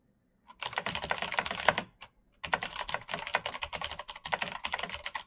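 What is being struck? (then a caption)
Mechanical keyboard with plastic keycaps. Fingertips type fast on a black backlit mechanical keyboard with plastic keycaps and clicky switches, making a rapid stream of sharp, bright clicks. A burst of typing runs for over a second, pauses briefly with a lone tap, then picks back up and continues steadily to the end.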